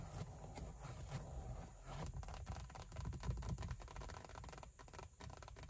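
Long white acrylic nails scratch and tap the large, padded backrest of a black leather (likely faux leather) front car seat with a perforated fabric insert. A steady stream of soft, dull scraping and muffled tapping is heard, heavy in low rumble with little brightness and short decay.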